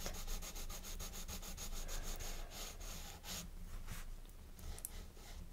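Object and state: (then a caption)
Colored pencil shading on a paper page. A blue colored pencil rubs repeatedly back and forth across the page of an open paper coloring book on a wooden table, the page held down by the left hand while shading. Quick, steady scratchy strokes with a bright papery hiss run for the first few seconds, then the strokes slow and thin out into lighter, scattered rubbing.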